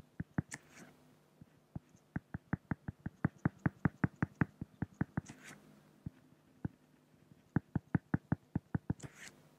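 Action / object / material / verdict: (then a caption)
tap / flat acrylic (plexiglass) sheet touched with a pen / acrylic / none. A pen makes drawing strokes on a flat, solid acrylic glass (plexiglass) sheet, producing about 32 short, dry, low-pitched taps in an uneven rhythm. The taps are broken by three brief, bright scratchy swishes of the pen across the surface.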